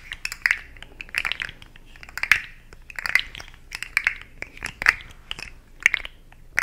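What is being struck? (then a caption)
Plastic articulated slug toy. A hand-sized, hollow, rainbow-segmented plastic articulated slug fidget toy is held in both hands and bent and wiggled, making its segments click while long nails scratch along its ridges. The result is a steady stream of short, dry plastic clicks and scratchy crunches with a bright edge, coming in irregular bursts over a quiet background.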